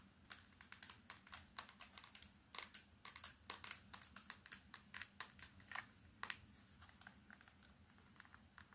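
An old plastic candybar keypad phone, held in both hands, is tapped quickly with long red and orange nails on its screen, keypad and edges. About 35 sharp, bright plastic clicks come in fast, uneven bursts with almost no ring, over a faint low hum.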